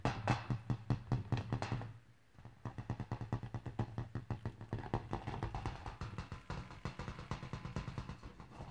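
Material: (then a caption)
Latex. Fingertips and painted nails repeatedly tap and bounce a large inflated yellow latex balloon, hollow and full of air, resting on grey carpet. Quick, dull, hollow thumps with a low boomy tone patter along at an uneven pace, each dying away almost at once. They break off for a moment near two seconds, then resume steadily to the end.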